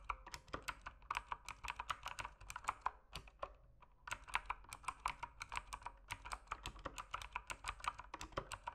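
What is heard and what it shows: Fingertips type continuously on an RGB-backlit mechanical keyboard with plastic keycaps, giving a steady stream of sharp, short clicks and clacks with bright tops and a brief lull of lighter taps near the three-second mark. Each keystroke dies away almost instantly, leaving a dry, rapid clatter.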